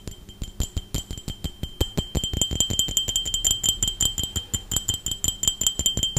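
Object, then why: Glass drinking tumbler. An empty, hollow, clear glass tumbler is held in one hand and tapped rapidly with the fingertips and nails of the other hand, some 36 quick, uneven taps that grow denser after the first two seconds. Each tap gives a bright, glassy clink with a high ring around 3 kHz, and dies away almost at once.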